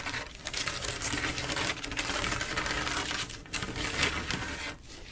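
Long acrylic nails on both hands scratch and tap across a flat panel of silver mirror-glass mosaic tiles set in grout. The result is a dense, steady stream of bright clicks and scratchy rasping, easing briefly in the middle and fading softer toward the end.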